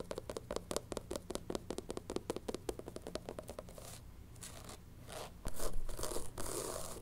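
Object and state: Rubber shoe sole.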